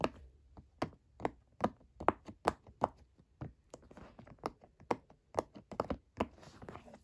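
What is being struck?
Silicone pop-it fidget toy.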